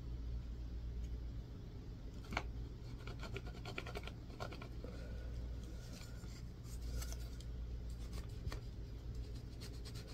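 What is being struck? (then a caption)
Bar of soap. A solid white bar of soap is scratched with a yellow-tined tool on a wooden handle. Quiet, dry scraping strokes and short clicky scratches come over a low steady hum, with a sharper scrape near the 2.4 second mark.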